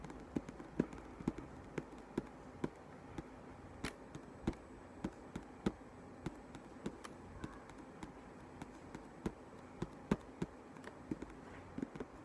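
A book is tapped with light, quick taps, heard as a soft, irregular series of dull clicks that die away almost at once. The taps sit mainly in the low and middle range with little brightness, over a quiet background.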